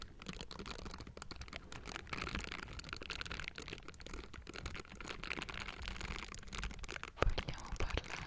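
Pink silicone bristle gloves on both hands scratch the hollow metal mesh grille of a Blue Yeti microphone. The result is dense, continuous crackly scratching with a heavy low rumble and a louder sharp burst near the end.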